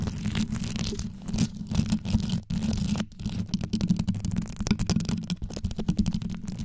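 Long yellow nails scratch and tap a rhinestone-studded microphone grille, first from above and then from the sides. The result is a deep, bass-heavy rumbling scratch broken by rapid, dry clicking taps with almost no ring. A brief drop out near the middle separates the two passes.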